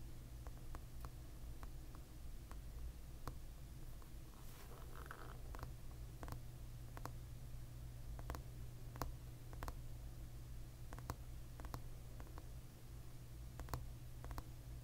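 Fingertips and short nails tap repeatedly on the hard back of a glossy tortoiseshell plastic hairbrush held steady. Each tap is a short, crisp tick, scattered irregularly over a steady low hum.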